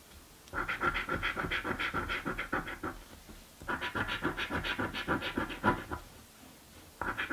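A coin scratches the coated panels of a blue and green paper scratch lottery ticket, which is held flat by a hand with painted nails. It makes rapid, raspy scraping strokes, about three to four per second, in three bursts separated by short quiet pauses. The scraping is centred in the mid-range around 1 kHz.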